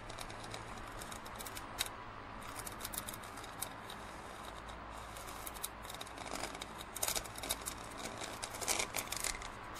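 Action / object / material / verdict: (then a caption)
scrape / plastic drinking cup / plastic / none. Fingernails scratch a large, printed plastic drinking cup that is hollow and empty, and the cup is then laid on its side. Quiet, bright, dry scratching and tapping clicks stand out over a steady low hum, growing denser and louder toward the end.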